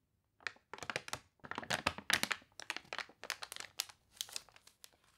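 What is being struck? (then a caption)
Glossy paper catalog pages. Pages of a glossy paper toy catalog, wrinkled by water, are turned, then long nails rub a crinkly page up close. The result is bursts of dry, bright crinkling and crackling with little low end, clustered into uneven groups that stop and start with brief quiet gaps.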